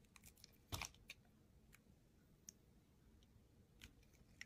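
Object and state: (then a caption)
Soap bar being shaved with a knife. A solid white soap bar is held in the hand and shaved with a utility knife blade, with flakes coming off the top edge as the blade slices through. Short, dry, crisp scraping clicks sound at irregular intervals over a faint low hum. Each cut is bright and ends almost instantly.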